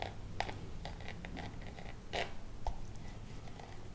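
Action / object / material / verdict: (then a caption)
scrape / coated canvas pouch with metal fittings / coated canvas / none. A small hollow Louis Vuitton monogram pouch of coated canvas, with a metal nameplate and zipper, is held close and scratched and tapped with long acrylic nails. Soft scraping runs throughout over a low rumble, broken by sharp, bright clicks, and the zipper may be moving too.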